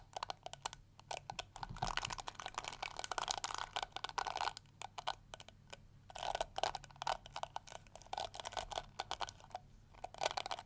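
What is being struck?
Plastic detangling hair brush.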